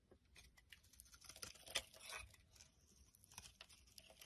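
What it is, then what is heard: Soap bar being carved. A utility knife blade carves the edge of a solid white soap bar held in the palm, shaving it into curls and flakes. Quiet, bright, dry scraping and crackling comes in short, uneven strokes, peaking in a sharper crisp cut near the middle before tapering off.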